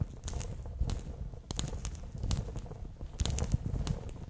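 A bear-shaped clear PVC pouch full of water beads is held near the microphone while its ear section is squeezed, making the beads shift and pop inside. A low, soft squishing runs throughout, broken by scattered sharp, bright crackles and pops.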